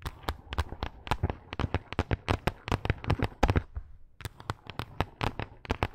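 Long acrylic nail tips scratch quickly over a pink faux fur pad. A fast run of short, sharp, crackling scratches comes with a low rustle underneath, then a brief pause near the four-second mark before the scratching picks up again. Each stroke stops dry with almost no ring.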